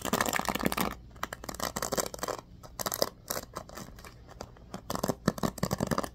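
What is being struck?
Bamboo paddle hairbrush with pin bristles.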